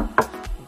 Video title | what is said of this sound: Sub hơi 50 phục vụ các thượng đế thích sập sình. Bass 50 các bon coil 125 và màng giấy coil 100 | Cái ván này nó rất là cứng